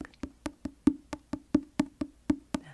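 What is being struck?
Paperback book, paper cover.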